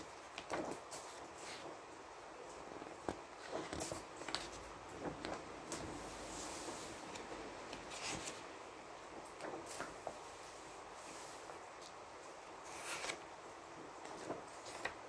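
Fingertips lift and turn the thin printed paper pages of a large open softcover book held flat on a table, the pages fluttering and rubbing against each other. Soft, dry papery rustles and brief bright swishes rise out of a quiet hiss, each turn ending in a short crisp flick.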